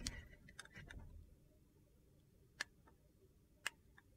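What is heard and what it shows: A metal utility knife blade cuts and shaves the edge of a hand-sized, solid, translucent glycerin soap bar with purple and teal chunks. A soft, gritty scraping opens the clip and fades within about a second and a half. A few sharp, bright, crisp ticks follow, spaced apart over a quiet low background.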